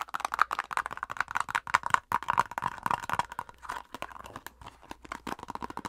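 Long acrylic nails rapidly tap and scratch a plastic face-mask squeeze tube with a printed label. A dense, irregular stream of crisp, dry clicks and crinkly scratches is heard, with a hollow plastic tone around 1 kHz. The taps stop dead with no ring.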